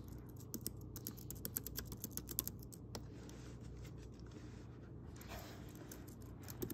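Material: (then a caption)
Plastic. A pink Logitech K380-style plastic wireless keyboard with round keys lies on a grey fuzzy blanket while both hands quickly tap many keys with their fingertips. It produces a fast, steady stream of light, crisp, bright clicks that die away instantly, over a low, constant background hum.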